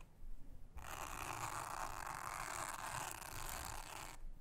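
A soft toothbrush brushes across a thin, solid, round blue silicone honeycomb trivet mat. After a brief quiet moment, a steady, airy scrubbing hiss runs for about three and a half seconds, centered in the mids with a bright upper edge, over a faint low rumble. It then stops and leaves near silence.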